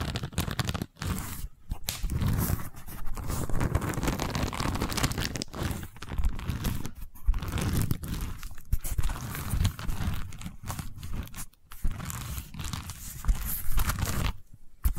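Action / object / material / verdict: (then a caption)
scrape / woven seagrass tube / seagrass / none. Long nails scratch across the woven seagrass or straw weave covering a long cylindrical tube, making a dense, continuous crackling rasp with a heavy low body. The scratching runs in strokes for the full clip, broken by a few brief near-silent pauses.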